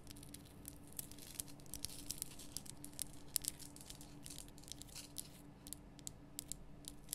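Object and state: Himalayan rock salt lamp.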